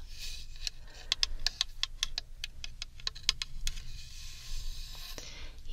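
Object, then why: Bamboo tube. Long red nails tap and scratch a tall, hollow bamboo tube decorated with a gold sun relief, held sideways. A rapid series of sharp, bright clicks with almost no ring sits over a faint low rumble, framed by soft scratchy hiss before and after the taps.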